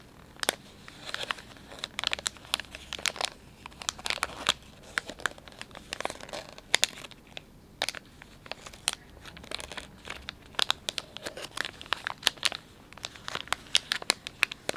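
Fingers crinkle and squeeze a palm-sized, filled Dettol wet wipes pouch made of soft plastic film, working over the film and its sealed white end. Dense, bright crinkling comes in a steady run of sharp, dry crackles that stop instantly, with almost no low end, over a quiet background.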